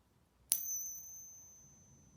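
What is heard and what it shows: A 72% silver Japanese coin is pinged once, giving a bright, high metallic ring with a clear sustained tone that slowly fades over about a second and a half. It rings like silver, sounding the same as a 90% silver coin.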